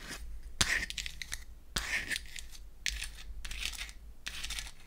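A small pink-painted wooden toy eyeshadow palette is opened and then closed while long acrylic nails tap and scratch across its wells and back. Short, bright scratching bursts alternate with sharp clicky taps over a steady low hum.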